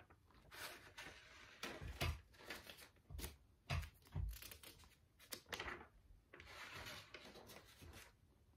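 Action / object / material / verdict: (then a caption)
scrape / paper notebook with metal spiral binding / paper / none. Fingertips flip and fan several pages at once through a thick stack of lined paper in a large metal spiral notebook, bending and crinkling the paper. Bursts of papery rustling and crinkling alternate with sharp, bright page flicks and soft low thumps as the pages fall over.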